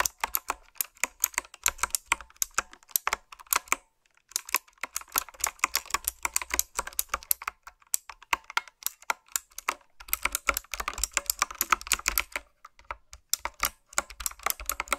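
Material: Plastic.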